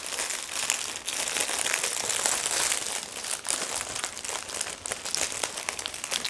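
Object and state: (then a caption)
Crinkling cellophane bag holding paper cards. Both hands with painted nails press, rub and lift a thin, clear plastic cellophane bag that is full, holding two stacks of paper journal cards. The plastic film gives off continuous, bright, crisp crinkling with brief dips, and almost no low end.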